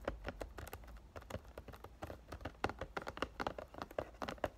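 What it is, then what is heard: Cellophane-wrapped cardboard perfume box. Fingertips and short dark-painted nails tap the sides and back of a sealed Ariana Grande "Thank U, Next" perfume box, a rectangular cardboard box of about 100 ml size wrapped in clear cellophane and held upright in both hands with the bottle inside. About two dozen quick, light taps land in an irregular rhythm, each a short hollow knock centered in the midrange with a faint papery crinkle.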